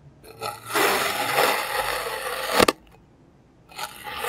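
A clear plastic serrated knife cuts thin slices from a solid, palm-sized molded block of green kinetic sand. A soft, bright, gritty scraping swells into a long, dense rasp, ends in a sharp double tick as the slice comes free, and falls quiet before a fainter scrape begins again.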